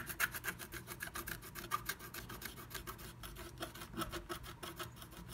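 A wooden stylus scratches back and forth across flat black scratch art paper inside a moon-shaped stencil cut-out, revealing red colour underneath. Quick, dry, raspy strokes repeat in a steady rhythm, each a bright, papery scrape that stops almost at once with no ring.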